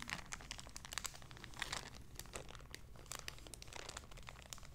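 A small, empty, clear plastic zip-lock bag is crinkled, folded and rubbed between fingertips and long red nails. Quiet, dense bursts of bright crackling and rustling come in irregular clusters over a low steady hum.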